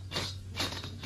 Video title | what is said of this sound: 壹碗大米飯做零食小吃炸鍋巴，記住兩種調料配方，比買的更脆更香#美食 #家常菜 #老东北美食 #下飯菜 | 还需要炸一遍看看声音这都不行差远了